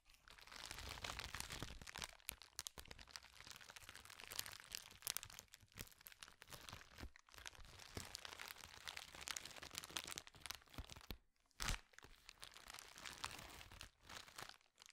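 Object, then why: Plastic bubble wrap sheet. Fingertips scratch, rub and squeeze a flat, clear, roughly hand-sized sheet of plastic bubble wrap, giving a steady, bright crinkling texture broken by sharp little pops and crackles. The sound runs fairly evenly for about fifteen seconds, with a brief quiet gap and a louder crunch near the twelve-second mark.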